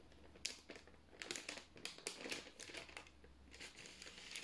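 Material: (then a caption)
Parchment paper. A single thin white sheet of parchment baking paper is flexed, rolled and crinkled with the fingertips of both hands. It makes quiet, bright crinkling rustles in uneven bursts over a faint low hum.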